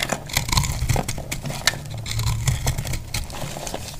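A solid, dry glycerin soap heart, marbled pink, green and purple and held in the hand, is cut into flakes with a metal utility knife blade. Rapid, crisp scraping crackles and small snaps follow one another over a steady low rumble, with each cut dying away almost instantly.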